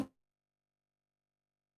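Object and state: Nothing is struck.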